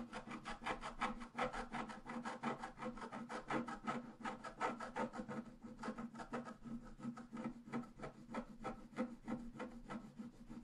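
A pointed wooden stylus scratches a flat, solid, black-coated scratch-art paper card resting on a table. Quick, fairly uneven rasping strokes repeat steadily, about three per second, for the whole clip. Each stroke is dry and scratchy with a midrange tone and fades quickly.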